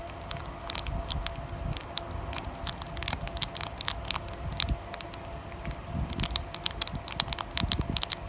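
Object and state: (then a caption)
Plastic foil card pack. Several long nails tap and scratch across the surface of a flat, sealed Digimon Carddass EX-01 plastic foil card pack. Quick, bright crinkly clicks and sharp taps come in irregular bursts over a soft, low rustle, with a faint steady tone underneath.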